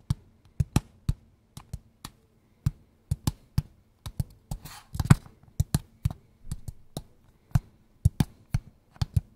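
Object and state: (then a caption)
Cardboard box, hollow. A small, hollow, kraft-brown cardboard box held in both hands is tapped quickly with fingertips and nails. Each tap is a short, dull, low knock with a crisp click on top that dies away almost instantly. A brief scratchy rustle of nails on the box sits midway through the irregular run of taps.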